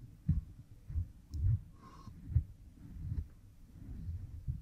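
A bamboo stick rubs behind an oiled pink silicone ear model microphone. The result is a series of dull, muffled low thumps and rubbing strokes, almost entirely deep bass with a faint, brief higher squeak in the middle.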